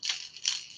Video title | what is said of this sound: JDM Unboxing Extravaganza!! | they just kind of walk it back and forth, and you'll get that one knock.